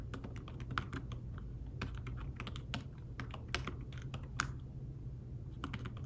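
Fingertips with short nails type on a thin, flat iPad Smart Keyboard-style folio keyboard with dark woven fabric-covered keys. Soft, quick, dry taps come in irregular bursts, each dying away almost at once. A steady low hum runs underneath.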